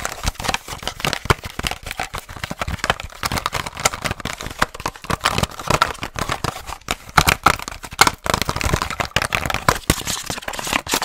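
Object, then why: Clear plastic blister pack on a cardboard card. A hollow retail package for a car headlight bulb, a hard clear plastic blister on a printed cardboard card, is held in the hands and tapped and scratched fast with long nails. A dense, continuous run of sharp crinkly clicks and dry scratching fills the clip, bright and crackling with little low end and almost no ring after each hit.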